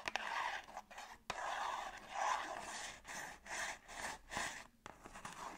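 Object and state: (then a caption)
Cardboard box scratched and tapped. Long acrylic nails tap and scratch a small, hollow, closed printed cardboard La Roche-Posay skincare box held in both hands. The result is a run of dry, papery scratching and rasping bursts, broken by short pauses and a few sharp clicky taps. The sound is bright and airy in the midrange, with almost no low end.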